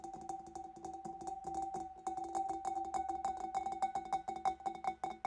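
Long black-polished nails on both hands tap rapidly and irregularly around the sides and neck of a large, empty, clear glass fish bowl. The hollow bowl gives back short, bright clinks with a steady ringing tone near 760 Hz. Partway through, the taps grow louder and gain a higher, brighter ring.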